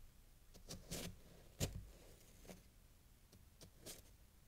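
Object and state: Block of packed snow being sliced.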